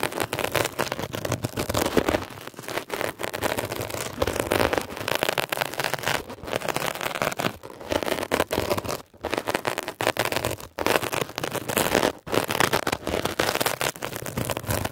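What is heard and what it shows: A metal ear pick scratches rapidly across a blue mesh-covered textured foam scrub sponge. The result is a dense, continuous crackling and rasping across the whole clip, bright and scratchy with little low end. A few brief pauses break it up.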